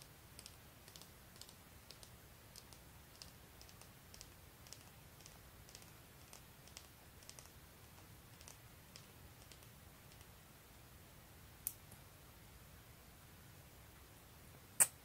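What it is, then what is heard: Plastic mascara tube. Painted fingernails tap and click on a small, hollow black plastic mascara tube with a silver band held in the hands. A steady run of soft, bright ticks continues over a quiet low hiss, then two sharper, louder clicks stand out near the end.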